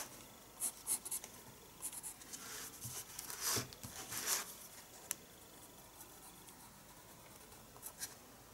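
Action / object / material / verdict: scrape / pencil on paper sketchbook page / paper / none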